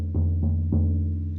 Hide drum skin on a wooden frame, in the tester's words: C'est beaucoup mieux. Donc ça y est, c'est retendu.